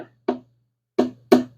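A body hammer taps a metal bearing cap on the bottom end of a 5.7 Eagle Hemi engine, checking for any looseness. Three short, dull knocks sound around 250 Hz and die away quickly. The cap is tight and nothing is loose.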